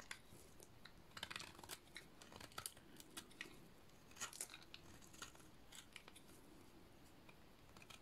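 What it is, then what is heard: Dry soap bar being cut. A solid purple dry bar of painted soap is shaved with a utility-knife blade. Repeated short, dry scraping and cutting strokes produce bright, crisp crunches over a quiet low rumble. Each stroke stops almost instantly with no ring.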